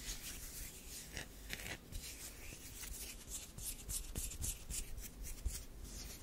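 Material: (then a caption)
Soap. Long nails scratch a solid tan DURU bar soap, making dry, bright rasping strokes in a quick, uneven rhythm, then a metal knife blade is brought to the bar's edge. The scraping comes as a series of short, crisp bursts over a low, steady background hum.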